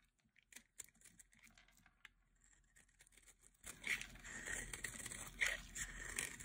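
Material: Soap.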